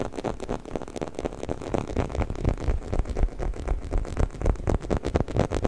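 A hollow, orange, textured rubber squeaky chicken toy, about 25 cm long, is held right in front of the microphone and scratched and rubbed along its bumpy body with fingertips and nails. The result is a steady, dense stream of quick, dry rasps and scrapes with a heavy, low rumbling body and little brightness, pulsing roughly twice a second at uneven intervals.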